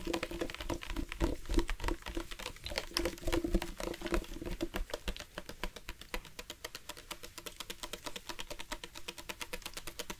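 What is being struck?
Hard plastic water bottle.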